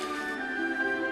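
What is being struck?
Nothing is struck.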